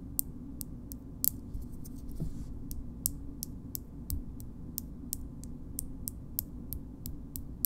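A small pink frosted glass cream jar is held in the hand and tapped on its base and side with long nails. The result is a slow, steady series of short, bright, high-pitched ticks that die away almost instantly, over a low, steady hum.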